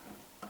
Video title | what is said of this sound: Порівнюю зелені нівеліри Bosch GLL 3-80 G Stark LL 12G 3D Shijing E801-F1 7359 Huepar S04C Hilda 4D | am Klopfen kann man erkennen, dass es sich um eine Art Metalllegierung handelt